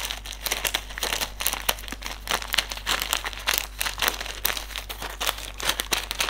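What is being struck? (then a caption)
Silica gel desiccant sachet. Fingertips crinkle, fold and rub a small white silica gel desiccant sachet filled with silica beads. The result is a dense run of bright, papery crinkles and short sharp crackles, with a faint steady low hum underneath.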